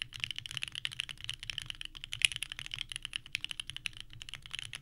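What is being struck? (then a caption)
Mechanical keyboard with plastic keycaps. Both hands type continuously with the fingertips on a small 65% mechanical keyboard with a purple case and white ABS keycaps resting on a desk mat. The result is a rapid, steady stream of about 38 short, bright, clacky key presses with almost no ring, over a faint low hum.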